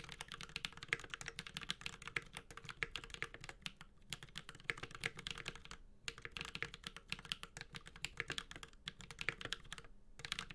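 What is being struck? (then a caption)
Mechanical keyboard, aluminium case with ABS plastic keycaps. A 65% Space65 Cybervoyager mechanical keyboard with an aluminum case, ABS keycaps and Holy Panda switches is typed on continuously with the fingertips of both hands. Rapid, bright clacking keystrokes centered around 2 kHz come in dense bursts, with brief pauses near 4, 6 and 10 seconds, over a faint low thock from the case.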